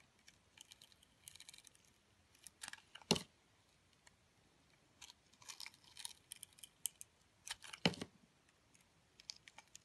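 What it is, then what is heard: Glitter-coated soap being scraped. A metal cutter blade scrapes and slices the glitter crust off a solid round soap coated in orange glitter, held in the hand. Short, dry, bright crackling scrapes come in uneven bursts against a quiet background, with two louder, sharper slicing cuts standing out.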